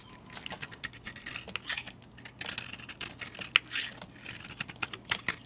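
A metal utility blade shaves flakes off a solid, painted white soap bar held in the hand. Quick, crisp scraping and ticking sounds are heard, bright and dry with almost no low end. Short, irregular cuts follow one another throughout, with a few sharper clicks standing out.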